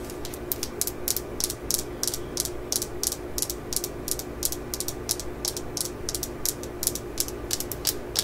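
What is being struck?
Steel claw-hammer head.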